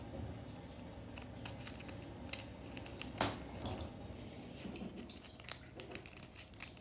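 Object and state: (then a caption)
Compressed powder bath bomb. Several long nails scratch and flick at a solid, white-pink chunk of compressed powder bath bomb. The result is a steady, soft, gritty scraping with bright crumbly crackles and a few sharper clicks over a quiet low rumble.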